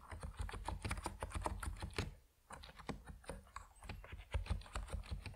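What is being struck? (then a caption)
Plastic mechanical keyboard with PBT keycaps. A compact plastic Epomaker NiZ Plum Atom 68 mechanical keyboard with white and purple PBT keycaps is typed on steadily by fingertips. Quick, dull clacks with a deep low thump repeat in a rapid stream, with a brief pause around the middle before typing resumes.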